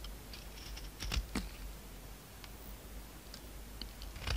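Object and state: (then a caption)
Soap bar being shaved with a knife. A utility knife scrapes and shaves a solid pink oval soap bar held in the hand. Soft, quiet scraping runs under a low background hum, broken by short, bright crisp shaving clicks that end with no ring.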